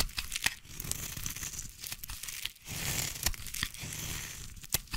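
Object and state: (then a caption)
Bar soap being carved. A solid orange bar of soap, held in the hand, is carved with a small blade into long curls. The result is a steady, bright scraping and crackling shaving sound, broken by short sharp snaps and ticks throughout. Beneath it runs a soft low rumble.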